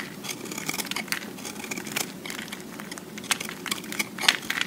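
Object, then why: Soap cube scraped by a utility-knife blade. A utility-knife blade scrapes and carves the faces of a solid green-and-white recycled soap cube held in the hand, shaving off soap flakes. Dense, crisp scraping and crackling fills the clip, bright and thin with almost no low end, and sharper clicks stand out near the end.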